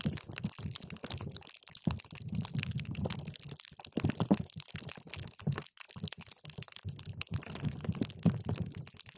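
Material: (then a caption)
Hydrogel. A paper straw is pushed down into a clear plastic cup full of multicolored water gel beads, crushing them. The result is a steady stream of dense, wet squelching and popping, heavy in the low end around 200 Hz with bright crackles on top, and short gaps of near silence in between.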